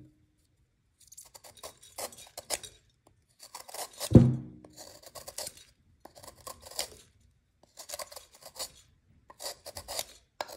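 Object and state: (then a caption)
Gym chalk block scraped with a knife. A metal knife blade scrapes and shaves the edge of a solid white magnesium carbonate gym chalk block held in the fingertips over a clear glass bowl, and powder and flakes fall into the bowl. Short bursts of dry, bright rasping scrapes repeat throughout, with one louder, low knock with a brief ring partway through.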